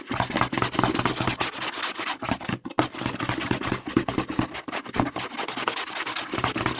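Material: Plastic.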